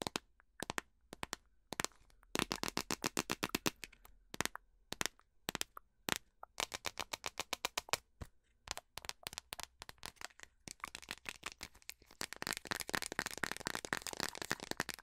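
Long nails tap and scratch a small plastic pumpkin pie spice jar with a red plastic lid. Sharp, bright, dry clicks come in quick bursts with short gaps. Toward the end they thicken into a dense, rapid scratching rattle.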